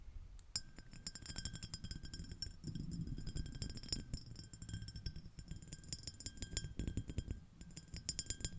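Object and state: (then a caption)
Small glass dish tapped and scratched. Long nails tap and scratch the surface of a small, clear, iridescent, shell-shaped empty glass dish, using one or both hands. Bright, clinking taps with short ringing tones ride over a steady low rustle of scratching. The tapping keeps up throughout the clip.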